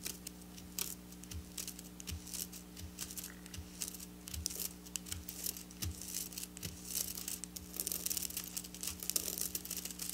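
Long black nails scratch across the rows of silver sequin fabric, making bright, crinkly scraping and rapid ticking clicks. A steady low hum and soft, regularly spaced low thumps run underneath throughout.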